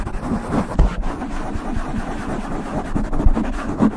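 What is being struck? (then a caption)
Foam microphone windscreen. Long nails scratch the sides of a black foam windscreen on a silver microphone, making a dense, muffled rustling and scraping. The sound is mostly low and boomy, with a few heavier thumps standing out from the steady scratching.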